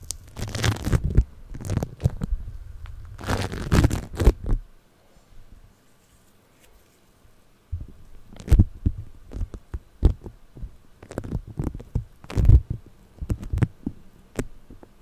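Purple floam, a moldable putty of tiny polystyrene beads pressed around the microphone head, is squeezed and scratched with fingertips and nails. Heavy, muffled crackling and squishing bursts sit mostly in the low range, with sharp brief pops. A near-silent pause in the middle separates the two stretches of handling.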